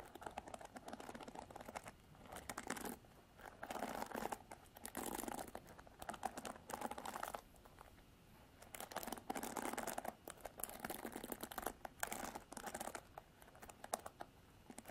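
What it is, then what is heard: Plastic paddle hairbrush. Long nails scratch and strum the black plastic bristles of a paddle hairbrush with a silver plastic frame. The result is bursts of dense, crackly rasping in the mid range, separated by brief quieter pauses, with no ring after each stroke.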